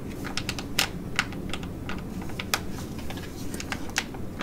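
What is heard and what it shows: Long nails tap and scratch the front of a flat, filled ID.AZ Derm metallic foil laminate sheet mask pouch held in both hands. Sharp, bright clicks with a slightly crinkly edge stand out over a steady low rumble, each dying away almost instantly.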